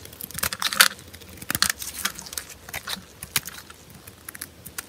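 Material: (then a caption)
Soap. A small metal blade scrapes and carves a large, solid block of dry, cream-colored soap held in purple-gloved hands, shaving off flakes. It makes a quick run of crisp, bright, dry scratching and crackling bursts with almost no low end, each stroke dying away almost instantly.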